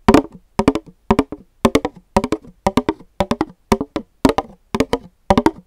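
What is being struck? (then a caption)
Paper cup. A pink, empty paper cup is held over a microphone and tapped on its side with fingertips and nails. Quick bursts of three or four dry, hollow, woody-sounding clicks repeat in a steady rhythm of about eleven clusters, each dying away almost instantly with a mid-pitched body and bright nail ticks on top.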